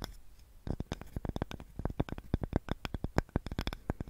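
A small, light, solid wooden cutting board with a handle is held in both hands in front of the mic and scratched and tapped with long nails. After a faint scratchy start, a rapid, uneven run of dry, sharp taps follows, each with a dull low thud and a bright click that dies away almost at once. Roughly two dozen hits are heard.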